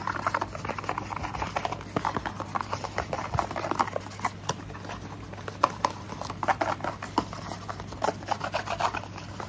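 Fingernails tap and scratch a small, hollow, printed orange paperboard box for SPF 50 sunscreen. Rapid, dry clicks and soft scratching rustle centered in the midrange, each tap dying away almost instantly over a faint, steady low hum.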